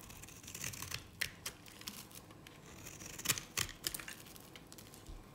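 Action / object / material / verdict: scrape / bar soap cut with a knife / soap / none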